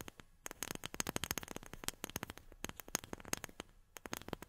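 Long fingernails tap on a wooden object in a quick, uneven string of short, dry clicks. Each tap is bright and crisp with almost no ring, over a faint background hiss.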